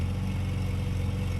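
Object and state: Nothing is struck.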